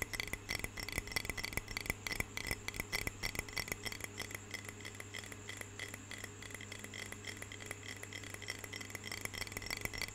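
Long fingernails tap rapidly and irregularly on a medium clear glass jar with a lid, filled with water. Each short, bright clink dies out almost instantly, ringing around 2 kHz over a steady low hum.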